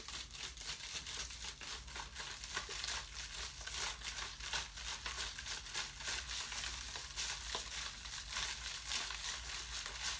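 An empty, thin, ribbed plastic water bottle is held in one hand and squeezed over and over, giving a continuous bright crinkling and crackling with sharp clicks. A faint steady low hum sits underneath throughout.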